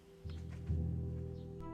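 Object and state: Nothing is struck.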